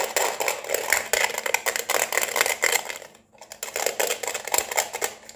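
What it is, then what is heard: Plastic neon lamp tapped with nails. An LED neon flamingo lamp with a hollow round white plastic base is held and tapped quickly with long painted nails on the base and the neon tube. The result is a dense run of bright, hollow plastic clicks with a ringing tone near 2.2 kHz and a faint steady hum underneath, broken by a short pause just after three seconds.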